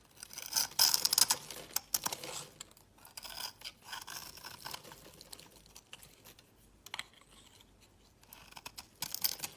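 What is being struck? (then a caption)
Bar of soap cut with a blade. A utility knife blade cuts scored cubes off a solid rectangular green bar of soap with a scored surface, held in the fingers. Bright, crunchy cutting and scraping crackles come in quick, uneven bursts, loudest near the start, then softer scratching, with a final sharp burst at the end.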